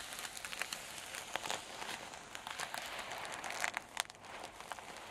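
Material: Paper.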